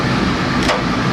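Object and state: Nothing is struck.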